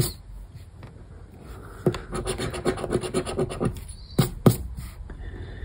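A thin paper lottery scratch card, "Palavras Sortudas BÓNUS," lies on a wooden table and is scratched repeatedly across its scratch-off coating with the edge of a black round plastic scraper disc held between the fingers. Quick, uneven rasping scrapes build in the middle of the clip, with a few sharper strokes near the end, over a low background rumble.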